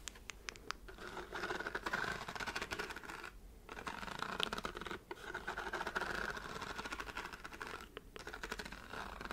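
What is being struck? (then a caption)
Pleated paper lamp shade with hard covers. Long white nails scratch and tap along the fanned-out, glowing pleated paper shade of a hand-sized book-shaped lamp with hard covers. The result is a dense, dry, crackling rasp with quick clicky taps, focused in the upper mids with bright edges, broken by brief pauses near 3.5, 5 and 8 seconds.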